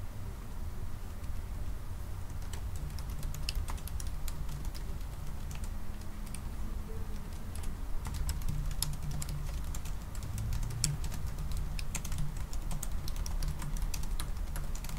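Fingertips tap the black plastic keys of a silver aluminium laptop, first with one hand and then with both hands typing. Quick, light, bright clicks sound over a steady low hum that dominates the clip, with a faint low tone around 145 Hz.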